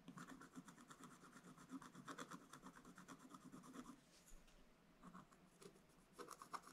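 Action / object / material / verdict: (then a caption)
scrape / wooden stylus on coated scratch-art paper / paper / none. A wooden stylus scratches the black coating of a flat scratch-art paper page in the middle of the picture. It makes quick, irregular runs of dry, rasping scratch strokes with a bright, papery edge. There is a quieter pause around the fourth second before a few more scratches.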